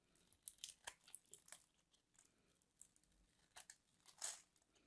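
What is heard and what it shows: A metal craft knife scrapes and carves the surface of a palm-sized solid white bar of soap held in a hand with long manicured nails. Quiet, crisp, bright scraping and crunching bursts come in an irregular series, with a louder cut near the end, and each one dies away almost instantly.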